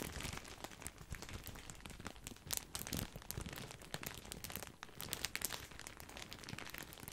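A full, large white printed plastic bag of grissini breadsticks is crinkled with the fingertips and with both hands. It makes a dense, continuous crinkling and crackling with many sharp, bright snaps over a low rustle. The sound is quiet and close, with bursts that rise and fall throughout.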